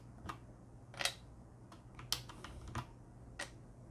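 A hand uses its fingertips to grip and press the black plastic keycaps on a Corsair K70 mechanical keyboard, beside an exposed red switch on its metal plate. Several sharp, bright plastic clicks ring out at uneven intervals over a faint low hum, each dying away almost instantly.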